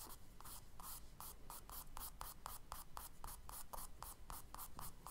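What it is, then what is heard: Charcoal scratching on a kraft paper sketchbook page. A charcoal stick held in the fingertips draws on the solid page of a spiral-bound tan kraft paper sketchbook lying flat on a dark table. Repeated short, dry scratching strokes come in quick rhythmic bursts, each with a papery rasp around 1.2 kHz and a bright hiss, over a quiet low background.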